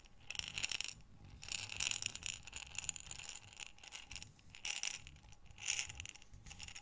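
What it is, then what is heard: Glass jar of buttons. A glass jar with a gold metal lid, full of small buttons, is rotated and shaken in the hands while long nails touch the glass. Bursts of bright, rattling clinks come in uneven waves, with quieter scraping and shuffling between them and almost no low end.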